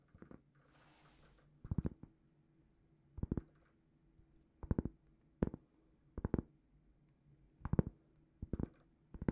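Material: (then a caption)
Cork. Long painted fingernails scratch and tap a large, flat, solid round cork trivet, about plate-sized, held up in both hands. After a brief soft scratching near the start, short bursts of quick, dry, muffled taps come at regular intervals over a faint low hum, each dying away almost instantly.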